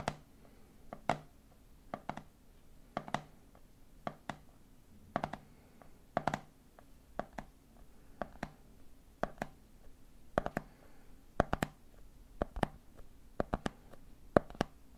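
Fingertips tap rhythmically on the red plastic lid of a medium clear plastic jar full of peanuts. Many short, dry clicks fall in repeating groups of three over a faint steady hum. Each tap dies away almost at once.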